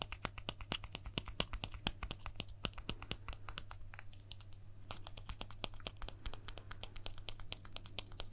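A small, thin, solid plastic guitar pick is held up in the fingers and tapped and scratched with the fingertips and nails. The result is a rapid, uneven stream of dozens of short, sharp plastic clicks and light scratchy rasps, with each click dying away almost instantly. A steady low hum runs underneath throughout.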